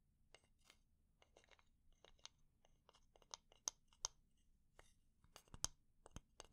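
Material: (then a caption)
Wood. A fingernail taps and scratches on the head and edge of a solid, light wooden spatula. Quiet, dry, bright clicks and brief scratchy rasps come at an uneven pace, with a few sharper taps standing out. Each one stops at once with no ring.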